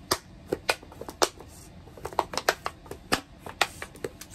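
A medium clear plastic tub with a white plastic lid, hollow and mostly empty with a few orange bits inside, is held in both hands while long painted nails tap and scratch along its plastic sides. About fifteen sharp, bright clicks with very short ring land at an irregular pace, separated by softer scratching.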